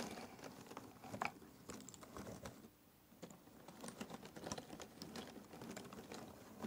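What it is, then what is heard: Cardboard jigsaw puzzle pieces being stirred. Fingertips pick at and stir a pile of small cardboard jigsaw puzzle pieces in a box. The result is a quiet, dry patter of quick, short clicks and light scratchy rustling, with a brief lull near the middle before the clicking picks up again.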